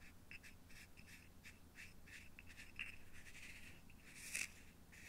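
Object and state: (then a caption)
Fingernail tapping on a small acrylic box. A fingertip and nail tap and rub the lid of a small, hollow, clear plastic or acrylic cube that is partly filled with purple material and held in one hand. The result is a quiet series of light, dry clicks and scratchy rubs with a bright, ringing tone near 2.6 kHz over a low background rumble. A sharper, louder scrape comes near the end.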